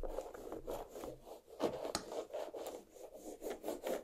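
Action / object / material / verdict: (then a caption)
scrape / watermelon half, rind / watermelon rind / none. Long black nails of both hands scratch the rind of a large, solid watermelon half resting on a plate. The result is a steady series of dry rasping strokes with a mid-range scratchy body and bright hissy edges, plus one sharp click partway through.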